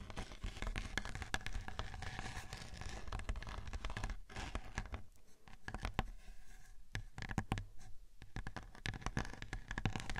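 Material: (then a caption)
Glittered cardboard. Long painted nails scratch across a large, flat, round silver glitter-coated cardboard cake board, thin and rigid, resting on top of a 3Dio binaural microphone. It makes a dense, gritty rasping full of rapid dry ticks over a heavy low rumble, with short quieter pauses around four and five to six seconds before the scratching resumes.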